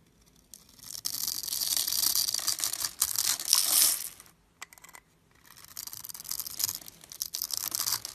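A solid purple bar of soap, scored in a grid and held in the fingers, is carved with a metal blade so small cubes crumble off. Dry, bright scraping and crumbling come in two long bursts around a brief pause, with a few quick ticks in the gap.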